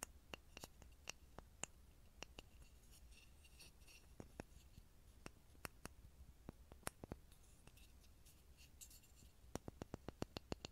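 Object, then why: Small pine wood block. A small solid pine block is held in front of a mini microphone and tapped with fingertips, producing a scattered series of short, dry, clicky taps that die away almost instantly. Fainter scratchy rustles sit in the high range between taps, over a steady low hum.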